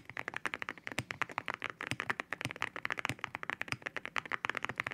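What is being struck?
Mechanical keyboard with ceramic keycaps.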